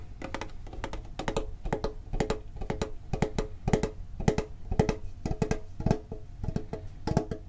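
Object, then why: Thin sheet-metal card tin. Fingertips tap quickly on the top and sides of a medium, printed, hollow metal Pokémon card tin. The taps come in rapid clusters of short, dry knocks with a hollow ring around 430 Hz and faint bright clicks, each dying away almost at once.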